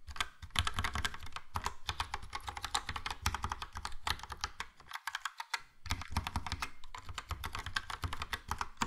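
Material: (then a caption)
Plastic. Fast typing with the fingertips of both hands on a Logitech POP Keys plastic mechanical keyboard with a yellow plastic case and round plastic keycaps. It makes a dense stream of crisp, bright clicks over a low thocky body. There is a brief pause just past the midpoint before the rapid clatter resumes.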